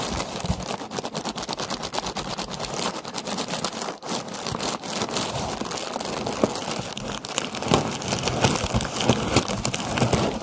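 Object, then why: Paper lantern on a wire frame. Long nails tap and scratch a hollow orange paper lantern on a wire frame, with a close-up near the end. The result is a dense, crackly stream of papery scratches and light taps with bright edges, dipping briefly around four seconds and growing a little louder and sharper toward the end.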